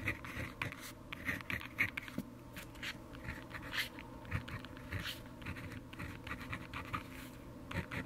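The tip of a blue plastic pen, held in the fingers, scratches across a thin paper notebook page lying open on a wooden desk while writing by hand. Quiet, continuous scratchy strokes come in quick uneven bursts, with a bright rasp around 2 kHz over a low soft rustle.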